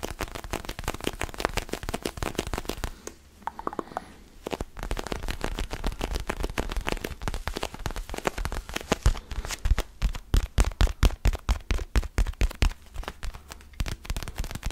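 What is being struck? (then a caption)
Small foam stress ball scratched with fingertips. A small, solid orange foam stress ball printed like a basketball is held in both hands close to the mic and scratched with fingertips and nails. The result is a dense, dry crackling scrape with a heavy low rumble, pausing briefly into near-quiet just after the third second before resuming. Toward the end, the scratches turn into sharper, louder, more separated strokes.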